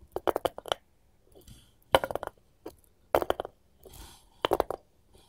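Long pointed gold metal finger claws tap and scratch the flat face of a solid, light wooden cutting board held upright, first with one hand and then with both. Quick bursts of sharp, dry clicks with almost no ring come in four clusters, separated by softer, hissy scratching strokes.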